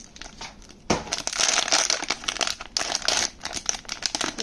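A small, thin, flexible, pale grey-blue metallic foil Pop Mart blind box pouch from the Zsiga Walking Into The Forest series, probably holding a figure, is held and pulled open with the fingertips and nails. After a quiet, faint rustle, a sudden loud burst of bright, sharp foil crinkling and crumpling begins. It continues in dense crackling waves with short, dry snaps and almost no low end.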